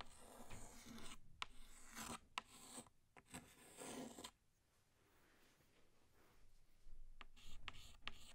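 A pink chalk stick draws a small flower on a flat black chalkboard with rasping strokes. Bright, gritty scratches with sharp ticks fill the first four seconds, fade into a quiet pause, then return with a few more strokes at the end.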